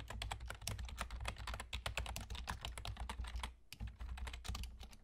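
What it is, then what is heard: Plastic computer keyboard being typed on. Fingertips with short nails from both hands rapidly tap the hollow keys of a full-size black plastic computer keyboard with German key labels. The result is a dense stream of sharp, bright clicks over a steady low hum, with a brief pause near the middle before the typing resumes.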